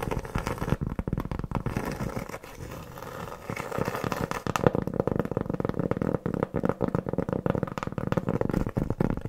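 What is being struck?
Cork board trivet.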